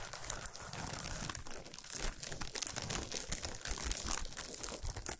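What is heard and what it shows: Long nails scratch and tap fast on a solid chocolate bar wrapped in shiny aluminum foil, resting on a towel. The sound is a dense, continuous crinkle of foil, with bright crackling textures and quick tapping.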